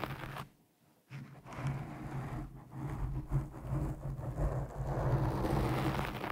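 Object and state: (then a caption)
Foam microphone windscreen being scratched. A black foam windscreen over a microphone is pinched and scratched with long nails of both hands, producing dense, muffled scratching and crackling dominated by low rumble. After a brief near-silent gap around the first second, the scratching resumes and builds into a steady, textured rustle that continues to the end.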